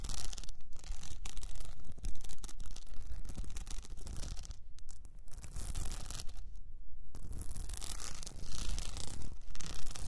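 Long nails scratch quickly across the blue rhinestone mesh wrapped around an upright cylinder, sometimes with one hand. The result is a dense, bright, rasping scratch that runs almost continuously, with a few brief pauses and one longer lull before it picks up again.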